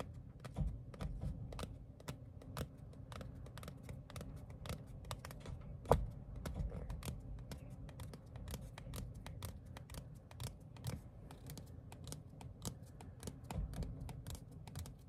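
Fingertips and nails tap rapidly across the face of a small, thin printed paper or cardstock ticket card held in the hands. Crisp, dry clicks with bright edges repeat at a steady, quick pace over a soft low rumble, with one noticeably louder tap about six seconds in.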